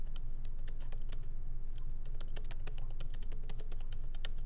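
Light fingertip typing with both hands on a MacBook Pro laptop keyboard, its small plastic keycaps set in an aluminum body, resting on a wooden desk. Quick, bright key clicks come in an uneven but steady stream, each dying away almost instantly, over a constant low hum.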